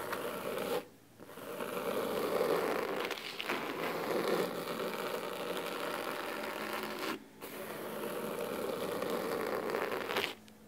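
Clawed fingers scratch the cloth cover of a thick, solid, navy fabric-bound hardcover book resting on a wooden table, using their fingernails. The result is a steady, dry, rasping scratch with a midrange body and a bright hiss on top. It runs in long strokes, broken by short pauses near 1, 7 and 10.5 seconds.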